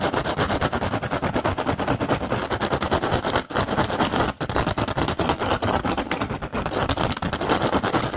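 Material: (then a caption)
Rattan. A hollow woven rattan basket is tapped and scratched fast by one hand's fingertips. The result is a dense, continuous stream of dry, crackly taps and scrapes across a broad, bright range, with a couple of brief pauses midway.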